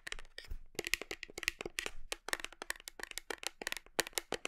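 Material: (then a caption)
Plastic. Long nails rapidly tap and scratch the label and plastic side of a large black plastic whey protein tub held against the body. A quick, uneven run of dry, bright clicks and short scrapes centers around 2.5 kHz, with each tap dying away almost instantly.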